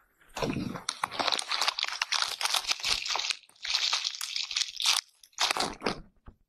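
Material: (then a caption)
Natural bristle. An oval bath brush with natural bristles is scrubbed against a transparent surface close up, making dense, bright, crunchy scratching. The strokes come in bursts separated by brief pauses, with energy concentrated in the high range and almost no low end.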